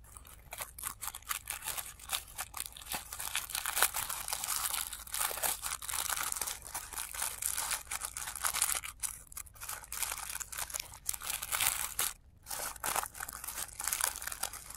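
Both hands rub, pinch and crinkle the thin petals of a blue tissue paper flower, with the sound played in reverse. A steady stream of bright, papery crackles and rustles comes in dense bursts with brief pauses between them.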